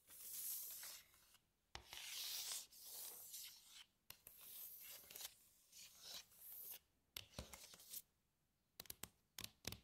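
Long nails scratch and trace along the ridges and dividers of an empty, glossy red plastic compartment tray. Bright, hissy scraping swells in bursts with brief pauses between them. The clip ends with a few sharp, quick taps.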